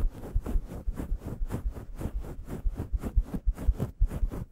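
Long yellow nails rapidly scratch a grey, fluffy synthetic faux fur microphone windscreen in staggered strokes. The result is about a dozen muffled, low, rumbling brushing bursts at an uneven pace, with almost no bright content.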